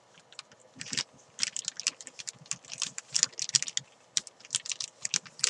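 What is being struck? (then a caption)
Thin plastic bag holding a chalk ball. Long nails scratch and crinkle a thin clear plastic bag holding a white climbing chalk ball on a desk. Quick, bright, crackly scratches come in irregular bursts with short pauses between them, each crinkle dying away almost instantly.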